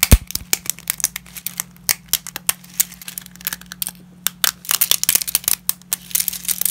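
Fingers in black nitrile gloves snap and crack pieces of dry wheat lasagna sheets with wavy edges and crush them against a pile of broken sheets. Dozens of sharp, brittle, bright cracks and crunches come in quick bursts over a steady low hum.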